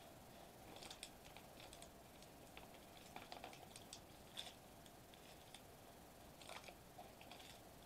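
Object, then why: Metallized plastic bubble wrap sheet. Fingertips tap and press a flat silver metallized plastic foil bubble wrap sheet resting on a white table. Quiet, scattered bright crinkly clicks and soft ticks come in irregular clusters over a steady low hiss. Each snap fades quickly.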